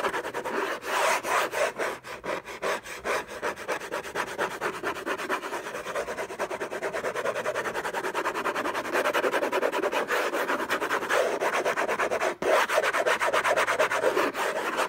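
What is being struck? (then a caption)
Paper-covered cardboard box. Fingertips and short nails scratch rapidly and unevenly across the lid of a long, rectangular, closed Hermès box made of cardboard covered in orange textured paper, contents unknown, lying on a fluffy blanket. The dense, dry rasping sits mostly in the midrange with little low end. It keeps up a steady level, with a brief drop in the scratching near the end.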